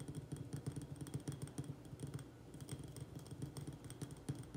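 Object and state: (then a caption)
Ceramic plant pot. Fingertips and nails tap fast on the sides of a small white glazed ceramic urn-shaped pot, filled with soil and an echeveria succulent, held with both hands wrapped around it. The result is a quick, uneven patter of soft, dull taps with a low, hollow body, a faint bright click on top, and very little ring after each tap.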